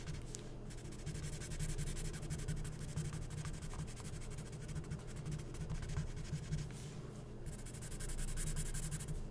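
A felt-tip marker scribbles fast back and forth on a thin, coated, glossy printed magazine page, filling in letters. Dense, scratchy strokes come in a steady stream of quick rubbing sounds over a low, constant hum. Brighter bursts of scratching rise near the start and again toward the end.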